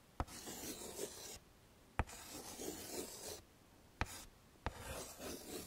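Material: Chalk.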